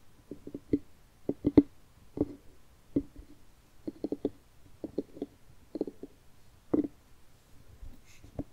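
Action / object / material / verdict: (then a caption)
tap / hollowed pumpkin rind / pumpkin rind / none. Fingertips and nails tap the rind of a medium orange jack-o'-lantern pumpkin, hollowed out with carved triangle eyes and a smile. About twenty short, hollow, mid-pitched knocks come in loose clusters of two or three, each dying away almost instantly, with a faint bright click where a nail catches.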